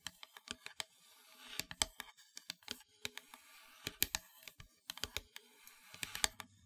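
Long nails tap across the surface of a solid, flat, black-painted wooden heart plaque in an uneven run of about 27 quick, separate taps. Each tap is a dry, bright click with almost no ring, over a faint, soft, textured hiss between taps.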